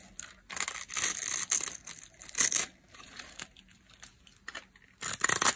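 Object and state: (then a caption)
Dry bar of soap. A metal utility blade carves and scrapes thin flakes off a solid, hand-sized, pink-and-white striped bar of dry soap held by long nails. Bursts of dry, bright scraping and crumbly crackle come in several strokes, the strongest near the middle and at the end, with quieter gaps between.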